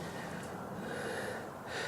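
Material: Nothing is struck.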